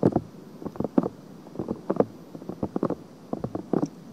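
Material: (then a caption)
Silicone. Long fingernails lightly scratch a soft silicone ear on a binaural microphone. Irregular bursts of muffled, scratchy rustling stay mostly in the low and mid range, each dying away almost at once. Quiet gaps fall between clusters of scratches.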